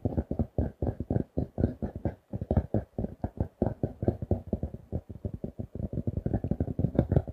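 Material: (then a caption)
Cardboard. A paper notebook with a glossy laminated card cover is held in both hands and tapped rapidly with fingertips and nails. The result is a quick, steady stream of short, dull, low-pitched taps with a faint thin click on top, each stopping almost at once.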